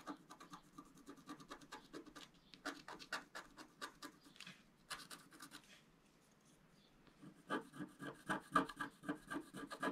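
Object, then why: Coated scratch-art card scratched with a wooden stylus. A wooden stylus makes small scratches near the bottom edge of a flat, black-coated scratch-art card. About 35 short, dry scratch strokes come at a quick, uneven pace of roughly four per second, with a quiet pause past the midpoint. The strokes then resume more strongly, with a raspy tone centred around 1.2 kHz.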